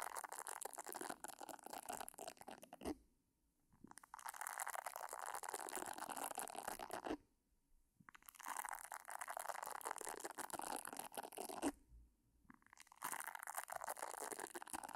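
Long nails scratch the round silicone nub pad of a pink silicone facial cleansing brush held beside the mic without touching it. Dense, crackly scratching comes in four sustained stretches separated by brief near-silent pauses, with the texture bright and concentrated in the mid and high range.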